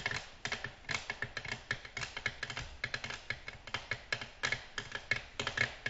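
Long natural nails gently tap a flat, solid, glossy black glass tabletop in quick, irregular bursts. Each tap gives a short, bright click with a faint ring near 2.2 kHz that dies away almost at once, and there is little low-end body.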